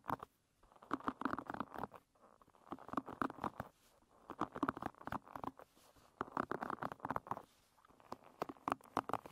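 Long red nails scratch and flick the wooden pin bristles of a wooden hairbrush lying bristles up. Bursts of quick, dry clicking and scratchy patter centered in the midrange, with sharp bright ticks on top, are separated by short quiet pauses.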